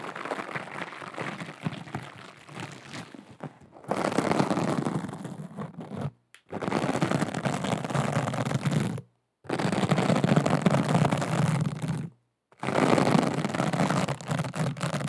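Long acrylic nails scratch a small, soft, flexible pouch made of aqua rhinestone and glitter mesh fabric, held close to the microphone. A dense, gritty scratching and crinkling comes in sustained bursts, separated by brief silences, and is weighted toward the low and middle range.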